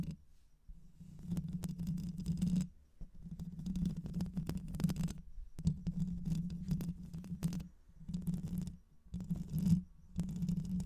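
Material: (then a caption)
Metal mesh. Long white nails scratch the hollow metal mesh grille of a black microphone, first with one hand and with both hands by the end. The scratching comes in dense, rough bursts separated by brief pauses, with a heavy low rumbling buzz and faint, thin high scraping on top.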